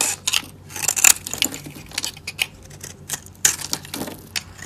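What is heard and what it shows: A solid, dry light-blue soap bar held in the hand is scraped and carved with a metal utility blade, and chips fall away. The result is a quick run of dry, bright scraping crackles and short clicky cuts, with almost no low end and no ring after each stroke.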